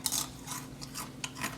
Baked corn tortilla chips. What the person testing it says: I just want you guys to hear how crispy they are